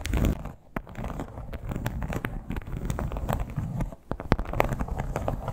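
Long black-tipped acrylic nails tap and scratch across the textured surface of a flat, hollow, soft red crocodile-embossed leather clutch. A rapid, dense run of short dull taps mixes with a rustling, crackly scrape, mostly low and muffled, with a few brighter sharp clicks standing out.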